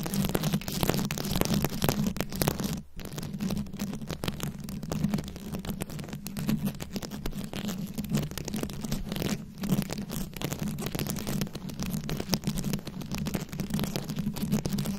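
Long nails scratch and tap across a rhinestone-studded microphone head in a dense, continuous stream of close, crackly scrapes and clicks. The sound sits heavy in the low end with a steady low hum underneath. Each tap dies away almost instantly, with brief quiet dips near 3 and 9.5 seconds.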